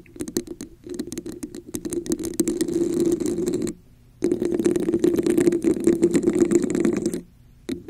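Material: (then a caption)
Plastic. Long acrylic nails scratch and tap on a hollow red textured plastic cup held over a microphone. Rapid, uneven clicking and scraping carries a boxy hollow resonance in the low mids, with bright crackle on top. The bursts stop briefly at about 4 seconds and again near the end.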